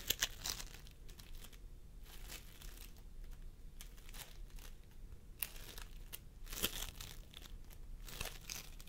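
Fingertips of both hands press and squish a pastel mound of sticky floam sculpting foam made of polystyrene beads on a wooden table. Soft, bright crinkling and crackling bursts come and go over a quiet low rumble, with short sharp pops that die away almost instantly.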